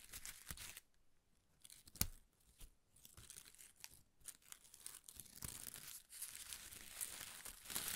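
A ball of thin pastel shredded paper strips is held in one hand while the other hand's fingertips rub and crinkle the strips. Soft, bright crinkling and tearing-like rustles come in bursts with sharp crackles and brief quiet gaps, growing into denser, steadier rustling toward the end.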